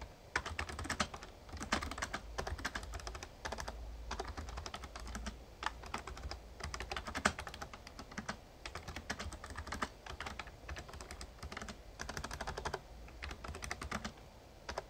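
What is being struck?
Plastic membrane keyboard.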